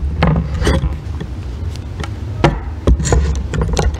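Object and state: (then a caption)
Bar of soap being scraped. A solid green bar of soap is handled with long nails, then scraped with a thin metal loop tool that cuts off crumbly shavings. Short, irregular scraping strokes flash up bright and crackly over a steady low rumble, each fading quickly.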